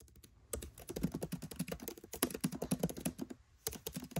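Fingertips with short nails tap rapidly on a MacBook Pro 13 keyboard, its black plastic keycaps set in an aluminium body with the Touch Bar visible. A quick, uneven run of soft, low clicks with bright ticks plays out. Each click dies almost instantly, with a brief pause before typing resumes near the end.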